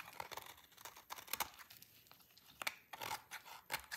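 A utility knife blade carves a solid, dry orange laundry soap bar, breaking off long shavings. Quiet, dry scraping is broken by a run of crisp, bright crackling snaps as the shavings crack away, with almost no low end.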